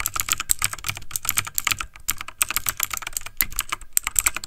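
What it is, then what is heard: Plastic mechanical keyboard. Fingertips of both hands type fast on a backlit plastic mechanical computer keyboard. A dense stream of rapid, bright clacking key taps plays with no break, each tap dying away almost instantly over a faint low rumble.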